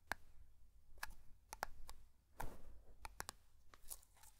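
Fingertips tap the lid rim of a small black metal hair cream (pomade) tin held close to the microphone. The result is a quiet, irregular series of short, dry metallic clicks with a slight ring around 1.6 kHz, dying away almost instantly over a low background hum.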